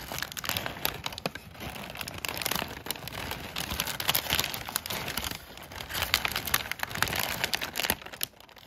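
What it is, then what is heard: Kraft packing paper. A large sheet of crumpled brown kraft packing paper is crinkled and rubbed with fingertips and short nails. The result is a continuous, bright crinkling texture dotted with sharp crackles that swell and fade, with little low-end weight.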